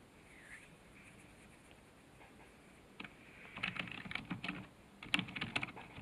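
Fingertips type on the keys of a black plastic computer keyboard resting on a desk. After about three seconds of faint hiss, a quick run of short, bright plastic key clicks and taps begins, each dying away almost instantly.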